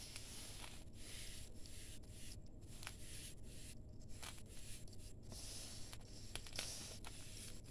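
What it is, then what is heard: Damp sand-cement mix. Bare fingers dig into a crumbly grey damp sand-cement mix in a large steel bowl, squeezing and crumbling the clumps. The result is a quiet, steady gritty rustling and crunching, with brief bright crackles over a low, constant rumble.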